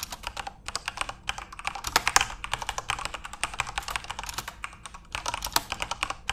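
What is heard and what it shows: Fingertips type rapidly on a full-size RGB-backlit Corsair mechanical keyboard with plastic keycaps. The result is a steady stream of short, bright, clicky clacks with little low end, each key strike stopping dead with no ring.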